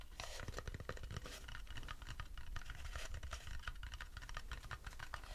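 An empty, light wooden bowl is held with its underside out while fingertips scratch and tap across it. The result is a dense, quiet run of dry scratches and soft hollow taps with a low, woody body and very short ring. At the end the bowl is lowered.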